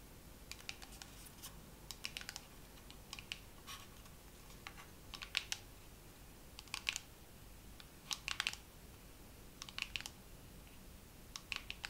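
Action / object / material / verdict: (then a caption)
tap / plastic dermaroller case / plastic / none. A dermaroller case is tapped slowly with long nails for ASMR. Quiet, dry, bright clicking taps come in small irregular clusters, centered around 2.7 kHz, with no ring after each tap. A faint steady hiss sits underneath.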